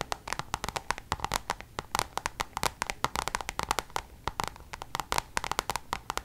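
Long nails on both hands tap rapidly on a coated-canvas Louis Vuitton designer pouch. Dozens of quick, dry clicks with no ring form an uneven, steady patter, each tick centered near 1 kHz with a bright crisp edge.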